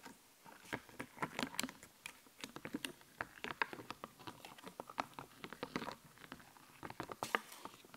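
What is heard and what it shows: A raised, glittery, puffy plastic sticker sheet is held upright while nails and fingertips scratch and tap across the stickers. The result is a quiet, steady patter of short, dry, clicky taps mixed with light scratching, bright and crisp with almost no low end. Each tap dies away immediately with no ring.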